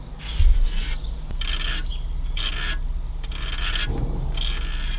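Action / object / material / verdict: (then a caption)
scrape / aluminium radiator fins / aluminium / none. Fingertips and nails scratch and rub across the thin vertical fins of a large, dusty aluminium car radiator lying inside an abandoned car. Repeated bursts of bright, raspy scraping, peaking around 3.5 kHz, come and go over a steady low rumble.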